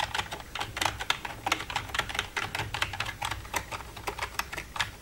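Long red-painted nails tap and type across the keys of a black plastic full-size computer keyboard with a silver frame. A quick, uneven stream of short, bright clicks, each dying away almost instantly, sits over a faint low rumble.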